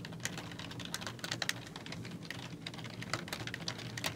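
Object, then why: Plastic computer keyboard. Fingertips with long nails type on a black plastic computer keyboard with hollow keys. A quick, uneven run of sharp, bright, clicky taps dies away almost instantly, over a steady low hum.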